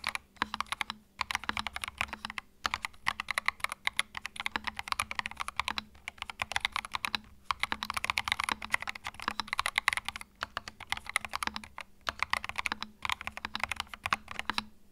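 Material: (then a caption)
Plastic. Fingertips type continuously on a compact white mechanical keyboard with plastic keycaps, producing a dense stream of sharp, bright clicks with almost no low end. The clicks come in rapid bursts separated by brief pauses, each one dying away almost instantly, over a faint steady low hum.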